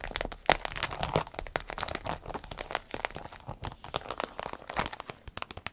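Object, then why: Small vinyl zip pouch. A small, hollow, striped vinyl zip pouch is tapped with fingernails, then folded and squeezed by hand. Quick, sharp taps give way to a dense, bright crinkling and crackling of the vinyl, with no ring after each sound.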